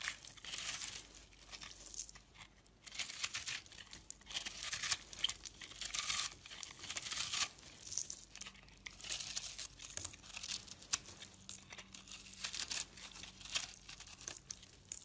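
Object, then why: Bar of soap. A blade cuts and crumbles pieces off a porous, dried, crumbly yellow-orange soap lump held in the hands. Dense, bright scraping and crackling bursts come in waves, with crisp tearing and crunching textures and almost no low end.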